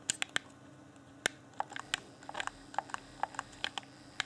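A fingertip taps and clicks the buttons of a hand-sized, hollow, transparent plastic Xbox One Afterglow game controller with its yellow LED lit. About 16 short, dry, bright plastic clicks land at uneven intervals and stop instantly, over a faint steady hum.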